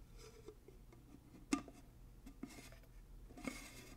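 Fingers twist and scratch the metal screw band lid of a large empty glass mason jar, giving a rasping metal-on-glass thread sound. Three sharper clicks stand out over the quiet scraping, with a low tonal ring near 277 Hz and brief bright edges that die away quickly.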